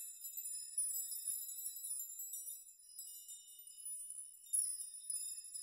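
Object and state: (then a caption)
Metal nail chime. A curtain of hanging metal nails or rods is brushed through with the palms and fingertips of both hands, rocking and shaking the rods so they collide. The result is a quiet, continuous shimmer of bright, high, thin metallic tinkling with no low end, swelling into louder clusters of jangling about a second in and again near the end.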